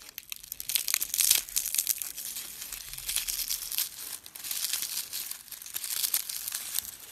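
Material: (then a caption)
Dried petals. Small dried rose heads are picked up from a pile and crushed and rubbed between fingertips with short painted nails. A steady, dense crumbling and crinkling, almost entirely bright and high, runs in short bursts with brief dips, and no low tones.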